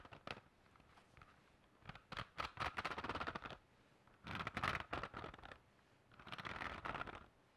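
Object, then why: Hardcover notebook with metal spiral binding. Fingertips and nails scratch and tap the hard cover and metal spiral binding of a medium-size black hardcover spiral notebook held close to the mic. A few quiet early taps lead into three longer bursts of dry, bright scratching with quick taps mixed in. Quiet pauses separate the bursts.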